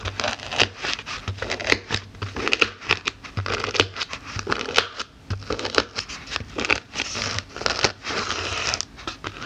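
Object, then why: Polyethylene foam block poked with metal snips. The tips of small metal snips, held in fingers with black nails, repeatedly poke and stab into the surface of a solid white layered polyethylene foam block with a pumpkin drawn on it. The result is a dense run of short, bright, crinkly crunches and squeaky scratches, some carrying a squeal around 2.6 kHz. Each one dies away almost at once.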